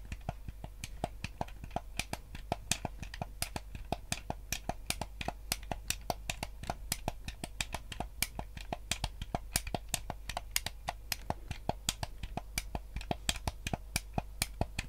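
Fingertips and nails tap and click the buttons and casing of a yellow hollow plastic gamepad held at an angle. Dozens of sharp, dry clicks in quick, uneven succession, each very short and bright, sit over a steady low hum.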